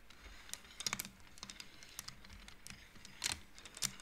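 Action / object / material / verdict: knock / wooden abacus with wooden beads / wood / none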